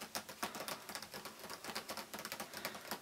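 An N7 boxed gift set, a hollow, hand-sized printed cardboard box with a windowed front, is held in both hands and tapped with the fingertips and nails. The quick, irregular taps sound like typing, each one a short, dry click with no ring, mostly in the mid and upper range and quiet overall.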